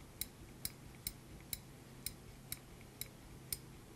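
A small black steel binder clip with silver wire handles, held in a gloved hand, has its handles moved and clicked with the fingertips. Eight sharp, bright metallic clicks come at a roughly even pace, each dying away almost instantly over a low, steady background hum.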